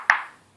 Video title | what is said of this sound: Review du blaser r93 KA french | C'est creux. Et ça fait caisse de résonance, donc c'est pas super.